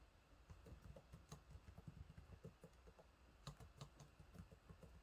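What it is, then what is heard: Plastic laptop keyboard being typed on. Fingertips type on the low-profile plastic keys of a silver laptop keyboard, making a steady patter of quiet, soft, dull taps with very little ring. A few sharper, brighter clicks stand out among the muted keystrokes, especially near the middle and end.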